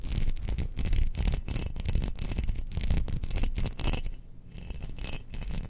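A round, hollow, glazed cream ceramic Death Star jar about the size of a large fist is held in the hands and scratched and tapped with long nails. The result is a dense, continuous run of quick, dry scratches and clicks that die away almost instantly, heavy in low thumping tones. The sound briefly thins and quiets just past the four-second mark before the scratching picks up again.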